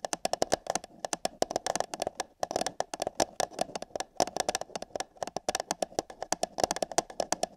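Long yellow fingernails tap rapidly on the side wall of an empty, hollow paper cup placed over a binaural microphone ear. The result is a dense, irregular run of short, dry clicks with a hollow resonance around 715 Hz, bright, crisp attacks, almost no low end, and no ringing after each tap.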